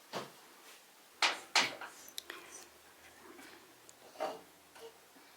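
A fired ceramic sculpture is struck several times to check it by its sound. Each hit gives a short, bright, bell-like ring with a clear tone near 2.4 kHz that fades quickly, and the clean ring shows the piece has no crack and is good.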